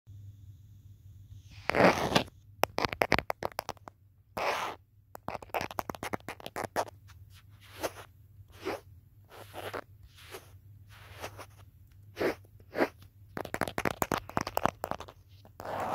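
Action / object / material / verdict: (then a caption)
tap / smartphone in a hard plastic case / plastic / none. Fingertips and short nails tap and trace across the back of a handheld smartphone in a teal hard plastic protective case, held up to a mirror, with the phone itself doing the recording. Close, dry clicks and brief scratchy, rustling strokes come in irregular bursts over a steady low hum.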